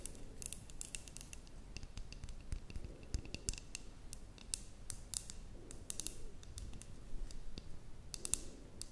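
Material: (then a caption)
Glass. Long nails tap and scratch a glass terrarium jar with a cork stopper that holds soil and moss. A steady run of quick, bright clicks and light scratching plays over a low, muffled rumble, each tap dying away almost at once.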